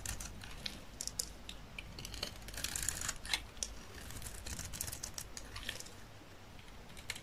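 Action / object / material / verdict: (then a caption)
scrape / soap bar cut with a knife blade / soap / none. A solid rectangular bar of dry olive-green soap, held in the hand, is shaved with a utility knife blade. The clip is a quiet, steady run of crisp, bright scraping and crackling strokes over a low rumble, with a few sharper clicks standing out.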